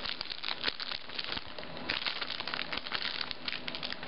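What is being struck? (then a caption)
Stack of wafers in a thin clear plastic wrapper. A full stack of stroopwafels in a crinkly clear plastic wrapper is held and squeezed in both hands with long nails. The plastic gives off continuous bright crinkling, dotted with many sharp crackles, over a faint low rumble.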